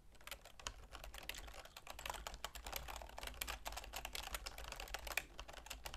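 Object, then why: Plastic computer keyboard. Continuous typing with long nails and fingertips on a full-size black plastic keyboard with a silver plastic frame. The result is a rapid, steady stream of dry, bright clicks and taps, each dying away almost instantly, over a faint low hum.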